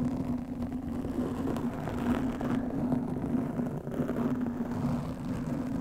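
Long nails and fingertips scratch and rub a black foam windscreen on a studio microphone. The result is a dense, continuous, muffled scratching and rustling, heavy in the low and middle range, with a steady droning tone near 246 Hz underneath. The level stays fairly even throughout.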